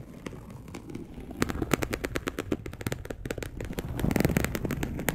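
A dark brown polyester mesh fabric sheet, perforated and laid flat, is scratched with long acrylic nails. Rapid, dry crackling clicks and scratchy bursts crowd together, bright and brief with almost no ring, over a low rustle that thickens toward the end.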